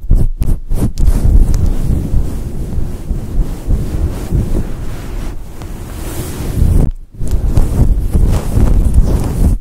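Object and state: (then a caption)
Faux fur microphone windscreen being scratched. Long acrylic nails scratch into a fluffy synthetic fur microphone windscreen with both hands, giving a dense, muffled, low rumbling rustle with almost no high end. A few brief dropouts break the sound near the start and again around seven seconds before the scratching resumes at full strength.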